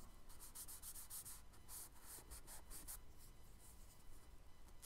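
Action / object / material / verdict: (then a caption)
scrape / charcoal stick on kraft paper sketchbook page / paper / none. A charcoal stick is dragged and rubbed across a flat brown kraft paper sketchbook page in shading strokes. The result is a quiet run of soft, dry, scratchy rubbing, with bright hissy bursts on each stroke over a faint low rumble.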